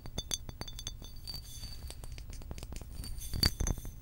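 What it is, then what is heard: Glass water bottle. Long pink acrylic nails tap a hollow blue glass water bottle with a cap in a quick, uneven run of light clicks. Each tap gives a short, bright glassy clink with thin high ringing tones that die away almost at once, and a few louder taps come near the end.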